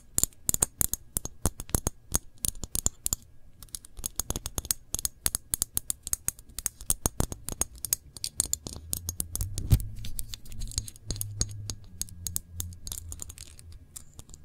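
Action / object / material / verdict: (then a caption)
tap / glass jar of jam with metal lid / glass / none. Long nails tap and scratch the glass body of a small glass jar full of dark cranberry jam, with paper labels and a metal lid. Quick, bright clicking taps come in dense bursts, with softer scratchy tracing between them. A low rumble swells beneath the sounds in the second half.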